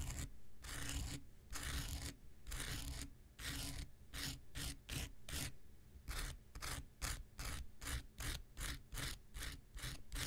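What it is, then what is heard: Foam nail buffer block scraped with a knife blade. An X-Acto knife blade scrapes a small, solid, rectangular pink foam nail buffer block in repeated strokes. Each stroke gives a dry, bright rasping hiss. The strokes start long and slow, then turn into quicker, shorter scratches over a steady low hum.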